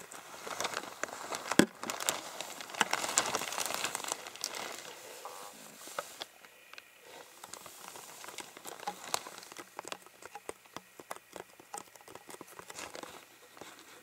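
A clear, ribbed, hollow plastic water bottle that appears empty is held close and squeezed and crinkled with fingertips. A dense, bright crinkling and crackling fills the first six seconds, with one sharp pop early on. It then thins into quieter, scattered clicks and creaks.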